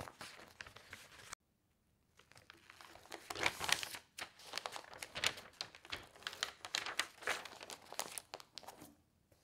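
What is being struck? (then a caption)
Newsprint newspaper. Hands with long nails smooth the sheets of an open newsprint newspaper on a table, turn a page and rub it flat. Bright, dry rustling and crinkling comes in quick bursts, broken by a short silence near the start and growing louder as the page is turned and pressed down.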